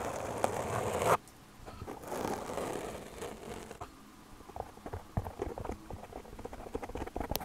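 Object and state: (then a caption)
Foam microphone windscreen. Fingertips and long nails tap rapidly on a black foam windscreen on a microphone. A dense, scratchy rustle cuts off abruptly after about a second, followed by softer muffled brushing. Scattered sharp, dry little taps then pick up, with a midrange, close-up character and little brightness.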